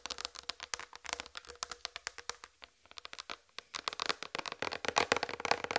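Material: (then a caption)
Plastic. Long red fingernails tap across the surface of a large flat white plastic tray. The result is a quick run of crisp, bright clicks with almost no ring and a faint tone near 470 Hz. After a short pause midway, the tapping returns faster, denser and louder toward the end.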